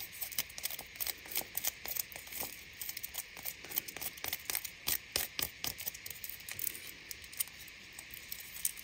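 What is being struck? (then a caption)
Chocolate egg in aluminium foil wrapper. A hand-sized Kinder Surprise hollow chocolate egg in a printed aluminium foil wrapper is held in both hands while long painted nails and fingertips peel, crinkle and rub the foil. The result is a quiet, bright, dense crinkling made of many short, dry crackles and ticks with almost no low end and no ring-out.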